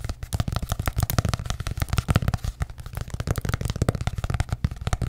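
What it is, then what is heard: Hardcover notebook. Long nails rapidly tap and scratch a small, ornate hardcover journal with an embossed cover. The result is a fast, continuous run of dull, low thuds that die away almost instantly, with faint scratchy texture between them.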